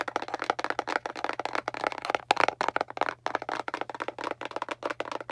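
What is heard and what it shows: Long, pointed dark nails tap rapidly on the surface of a small, hollow, printed kraft cardboard box held in both hands. About two dozen dry, hollow taps with a bright, clicky edge come in quick, uneven bursts, each stopping almost instantly. A faint, steady low hum runs underneath.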